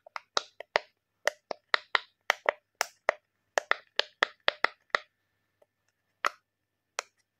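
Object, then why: Silicone pop-it fidget toy. A hand-sized, mouse-head-shaped rainbow silicone pop-it fidget toy, thin and flexible with hollow bubbles, is pressed with fingertips and thumbs to push the bubbles through so they pop. About twenty short, sharp, bright pops come in an uneven rhythm, dense for the first five seconds and then sparser. Each pop dies away almost instantly, leaving brief silences between them.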